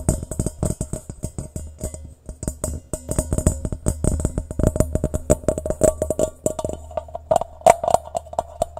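A medium-sized, hollow, empty stainless steel mixing bowl is held upside down in both hands while fingertips and nails tap quickly and unevenly on its rounded outer base. Each tap gives a short, bright metallic tick with a brief ring near 700 Hz, over a steady low hum that runs throughout.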